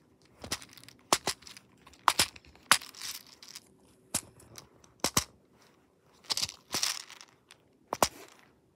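Fingertips press and pop the silicone bubbles of a hand-sized pop-it fidget toy with a black plastic frame and a bead maze of small plastic balls, turning it over between presses. Sharp, bright snapping pops come in quick pairs and clusters, mixed with brief crinkly, rattling bursts and short quiet gaps.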